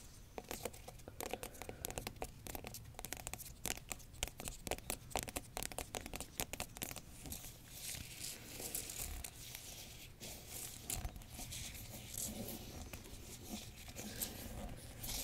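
Long nails tap and scratch across the hard rind of a whole yellow spaghetti squash. The first half is a quick run of many sharp, dry taps. It then gives way to denser, continuous bright scratching and rasping over the surface.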